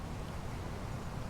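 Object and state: Nothing is struck.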